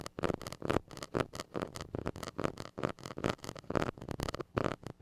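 A white plastic stick rubs and scratches the hollow metal mesh grille of a small gold mini microphone. It makes a rapid, irregular run of close scratchy bursts, dense in the low-mids with little high content. Each stroke stops dead with no ring.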